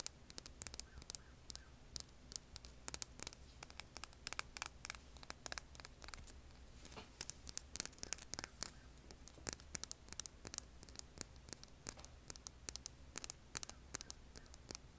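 Long painted nails scratch and tap a hand-sized, solid, rough granite-like rock held over an earbud mic. Quiet, rapid, bright clicks and gritty scratches sound throughout over a steady low hum, each one dying away instantly with no ring.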